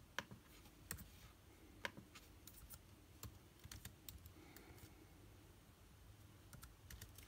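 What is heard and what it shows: Fingertips of both hands type on a backlit MacBook Air keyboard with plastic keys set in an aluminum body. Quiet, irregular clicks sound as the keys are pressed, each one short and bright with almost no ring. A low, steady rumble sits underneath the typing.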